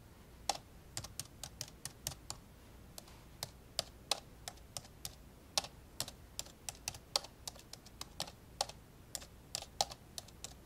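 An old dark grey plastic laptop lies open while its keys are pressed one by one with the index fingertips. About 34 short, bright plastic taps come in an uneven typing rhythm, each dying away almost at once, over a faint steady low hum.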